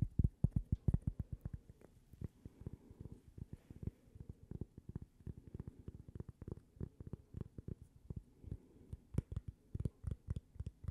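Long, glittery purple nails tap and scratch a thin, solid, toast-shaped cork coaster with a logo, held up close. Rapid, quiet, dull low taps with no ring follow one another steadily, with a faint scratchy texture between them.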